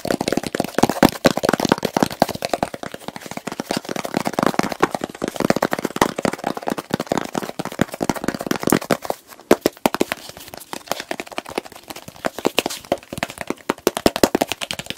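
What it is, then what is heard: Plastic jar lid tapped and scratched. Fingertips and nails quickly tap and scratch the blue plastic lid of a medium plastic petroleum jelly jar full of pale jelly. The result is a dense, fast stream of short, dry plastic clicks and crackly scratches with almost no ring. A brief quieter gap falls around nine and a half seconds before the rapid tapping resumes.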